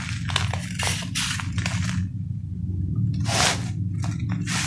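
A palm-sized, hand-held solid ball of compacted sand and cement is shaved and scraped with a metal knife over a sheet of notebook paper, and the crumbled powder falls onto the paper. Short, bright, gritty scraping bursts come in a quick series, with a brief pause before a longer rasping stroke and a final scrape. A steady low hum runs underneath throughout.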